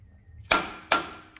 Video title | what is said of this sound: Chevy S10/GMC Sonoma Differential Bearing and axle shaft replacement | So when you hear that sound, that's how you know you're done.